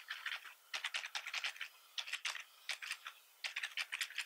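Both hands type quickly with their fingertips on a black plastic membrane-style computer keyboard with a hollow body. Bursts of rapid, dry, bright clicking keystrokes are separated by brief pauses, and each tap dies away almost instantly with no low thump.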